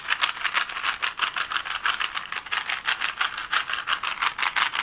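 A plastic Rubik's cube has its layers twisted quickly by fingers, giving a fast, uneven run of dry plastic clicks and rattles. The clicks are bright and short, with almost no low end and very little ring.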